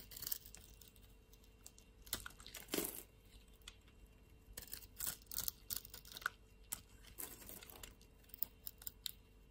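A utility-knife blade cuts pieces and flakes off a solid blue soap bar. The result is a run of quiet, dry scraping and crisp crackling bursts, mostly high and bright, separated by short pauses.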